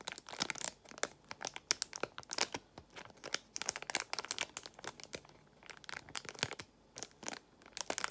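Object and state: Plastic pouch of nail gemstones.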